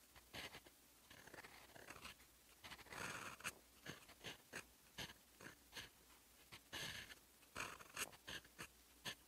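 A fountain pen's steel nib scratches across a sheet of lined writing paper while writing in teal ink. Bright, dry scratching strokes come in quick bursts and longer sweeps with brief quiet gaps between them.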